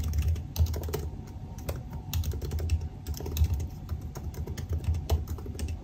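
Fingertips type rapidly on the black plastic keys of a silver aluminium laptop keyboard. Quick, dense key taps land as short, dull thuds, mostly low in tone, with faint bright clicks on top. Each tap dies away almost at once.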